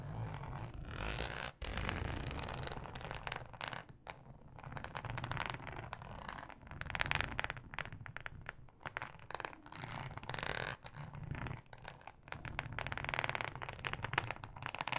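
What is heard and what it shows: Long acrylic nails scratch across the textured surface of a thin, yellow, ribbed, flexible plastic cutting mat lying flat. The result is a dense, continuous, crackly rasping that swells and dips in bursts, with bright scratchy detail over a low rumble.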